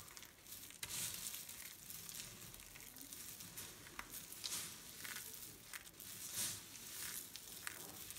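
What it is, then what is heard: Dry soap shavings. A pile of dry pink, white and green soap shavings is crushed between fingers, raked with fingertips and scooped up with both hands. The result is a steady, bright, crisp crackling and rustling with little low end, marked by sharper crunchy bursts throughout.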